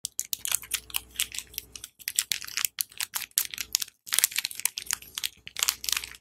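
Fingertips and dark-painted nails tap and scratch a small printed cardboard box holding a bar of Dettol soap, closed and full, while it is held in both hands and turned. Rapid, dry, bright clicks and scratchy crackles come in quick clusters separated by brief pauses, each hit stopping instantly with no ring.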